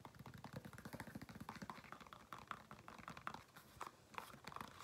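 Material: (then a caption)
Faux leather. Fingernails tap and scratch the upper of a single black, smooth faux leather women's flat shoe, held hollow and empty in the hand. Quick, soft, dull taps follow one another in a steady run, with light scratchy rustling between them. Each tap dies away almost at once.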